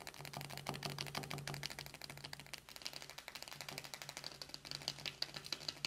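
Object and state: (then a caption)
Cardboard eyeshadow palette. Long nails of both hands tap rapidly on the closed lid of a small, flat, hollow cardboard eyeshadow palette with a dark paperboard cover, making a fast, uneven stream of dry, bright clicks over a faint low hum. At the end the palette is opened and one fingertip rests on it.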